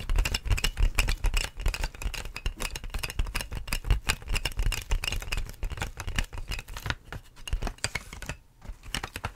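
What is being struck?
Inflated plastic air-column packaging.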